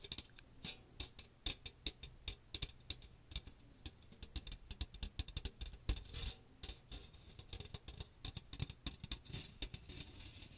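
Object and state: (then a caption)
Metal mesh strainer tapped with nails. Fingernails rapidly tap and scratch the fine metal mesh dome of a small, hollow strainer with a teal plastic rim, held over a microphone. The result is a dense, irregular patter of short, dry clicks with bright, scratchy highs over a soft low rumble, and each tap dies away almost instantly.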